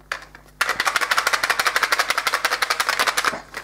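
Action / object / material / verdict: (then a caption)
shake / small box holding dice / plastic / tight. A small box packed with several dice is closed and shaken, giving a faint click and then about three seconds of quick, steady, bright rattling pulses. Because the dice fill the box and can barely move, the rattle stays small and muted.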